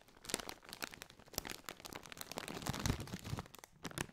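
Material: Metallized plastic.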